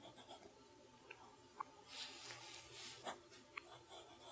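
A fountain pen nib writes cursive on a flat lined paper sheet resting on a wooden desk, scratching the paper. The quiet, bright, airy scratching comes in soft swells, broken by a few short, sharp ticks as the nib catches and lifts.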